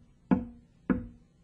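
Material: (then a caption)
Wood. The top of a wooden table is tapped to show that sound vibrations travel through solid materials such as wood. Two short, hollow knocks with a low body around 190 Hz fade quickly, and a third tap begins just as the clip ends.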